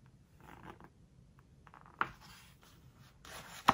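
A fingertip and long nails rub a glossy paper page of a large open hardcover book with soft, papery scratching, then the page edge is lifted and bent with the fingers. Two sharp, bright crinkling snaps stand out, one near the two-second mark and a louder one near the end.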